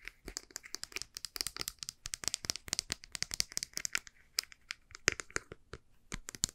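A white, soft plastic cosmetic squeeze tube with a printed label and barcode, hollow and partly empty, is bent, squeezed and tapped with long painted nails. The result is a fast, irregular run of crisp, crinkly clicks and snaps, bright and dry with almost no low end, each stopping instantly with no ring.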